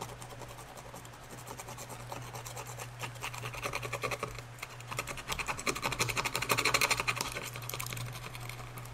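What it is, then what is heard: Glazed ceramic bowl. Gloved fingers work a small tool along the dark repaired crack line inside an empty, hollow cream and brown glazed ceramic bowl, scraping the seam. Rapid, uneven, bright scratchy strokes run over a steady low hum, growing louder and denser toward the later part before easing off at the end.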